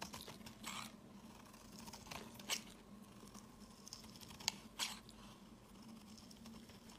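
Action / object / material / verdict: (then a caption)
scrape / bar of soap cut with a blade / soap / none. A snap-off utility blade shaves thin fibrous strands from a solid white soap bar held in the hand, with a green soap bar lying nearby. The quiet, bright, crunchy scraping comes in short strokes, with a few sharper crisp peaks standing out, over a faint steady low hum.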